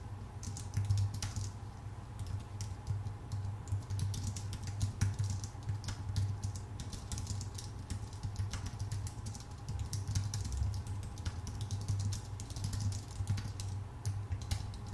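Both hands type with their fingertips on a full-size white Apple Magic Keyboard with plastic keycaps on a thin aluminum body. A rapid, continuous stream of light, crisp key clicks runs throughout over a steady low hum.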